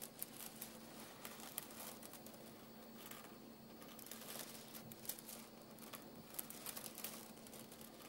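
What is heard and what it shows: Fingertips and nails tap and scratch across uncooked dry spaghetti strands spread flat on a white counter. The result is a quiet, dry crackling and scratching with sharp, bright ticks scattered throughout, over a faint steady low hum.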